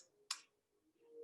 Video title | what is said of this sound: PumpkinChocChipCookies | have enough so you hear it crack